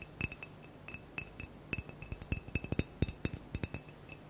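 Fingernails tap rapidly on a blue-green glass bottle with a cork stopper, held in hand and partly filled with decoration inside. Quick, dry clicks come in an irregular stream, each with a faint, bright glassy ping that dies away almost at once.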